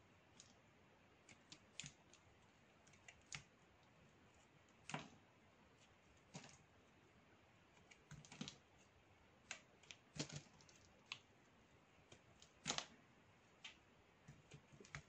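A metal blade shaves repeated thin slices from a narrow, solid stick of dry black soap held in the hand. Each cut gives a short, crisp, bright scraping click that dies away almost at once, scattered irregularly over a quiet, steady background hiss.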